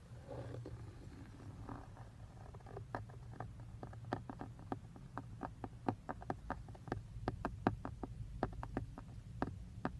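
Fingertips and short nails tap and scratch on a textured black plastic airbag cover on a steering wheel, just below the emblem ring. A steady stream of short, dry, crisp clicks and light scratches rises over a constant low rumble, the taps growing denser and sharper toward the end.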